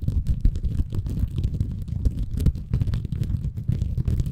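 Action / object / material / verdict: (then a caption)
scrape / bamboo fiber sponge / bamboo fiber / none. A small, soft, compressible green porous bamboo fiber sponge is held in both hands above a Tascam recorder while fingertips scratch and squeeze it. The result is a dense, muffled, low rumbling crackle made of rapid, overlapping scratchy bursts with almost no high end.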